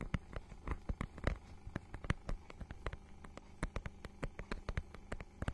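Long nails scratch over the raised scale pattern of a small, iridescent, holographic faux-leather mermaid-scale book cover held in both hands close to the mic. The result is a quick, uneven run of short, dry ticks and scrapes with a soft, low-heavy body and no ring after each stroke.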